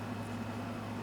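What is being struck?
Nothing is struck.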